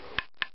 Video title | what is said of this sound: Walking sticks prep 1 | When you tap on it, it's got a, hear that? It's got more of a resonance to it,